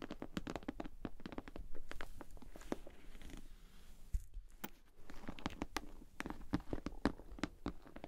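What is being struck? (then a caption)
Vinyl cosmetic bag. Long nails tap and scratch the sides and front of a pink glossy PVC cosmetic bag with a bow, hollow and held in the hands. A steady stream of quick, dry, hollow taps with almost no ring mixes with soft scratchy rustling. A heavier thump lands just after the midpoint before the tapping picks up again.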